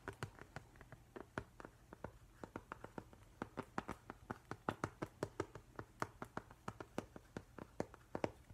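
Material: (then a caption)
Glass. Fingertips and nails tap quickly on the flat glass front of a framed octopus print. The result is a fast, uneven run of short, dry clicks with a mid-pitched tick, almost no ring, and a faint low hum underneath, all at a quiet level.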